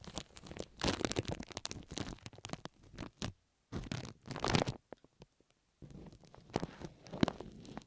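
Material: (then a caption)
Plastic. Fingers with long nails rub and scratch pink plastic cling film stretched over the right ear of a microphone. The result is close, dense crinkling and crackling with sharp scratchy ticks, coming in bursts separated by brief near-silent pauses.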